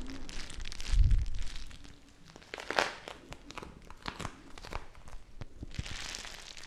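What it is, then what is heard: Plastic bag of gel beads being squeezed. A full, small clear plastic bag of teal gel water beads is squeezed and crinkled by fingertips with long nails. It makes a steady stream of soft crinkling and crunchy crackles, with a louder, deeper squish just after the first second. Then come scattered sharp, bright plastic clicks and rustles.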